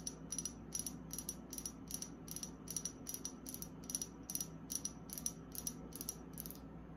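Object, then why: Small glass dropper bottle with liquid. Long acrylic nails tap a small, liquid-filled amber glass serum bottle with a dropper cap, held in the hand, striking both the glass and the cap. The result is a quick, steady run of bright, sharp clicks with very short ring, over a faint low background hum.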